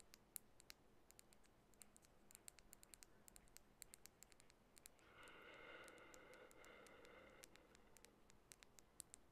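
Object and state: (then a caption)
Glass nail polish bottle tapped with fingernails. Long bare natural nails tap on a small glass nail polish bottle filled with orange polish and bearing an orange label. Dozens of quiet, sharp, bright clicks come in an uneven, unhurried rhythm over a low hiss. From about the fifth to the seventh second, a soft, slightly louder, banded rubbing sound rises beneath the taps and then fades.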